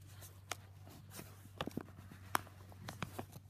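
A yellow Jiffy padded paper mailer lies on carpet while fingertips handle its flap and palms press and rub its surface. Soft, quiet crinkles and brushing rustle over a steady low hum, broken by about seven short, dry crackles.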